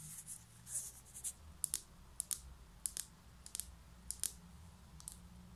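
A small white ceramic plant pot is turned over and tilted in the hands while its base and side are tapped and scratched with long nails. About fourteen sharp, bright clicks stand out over a soft scratching hiss and a low background hum.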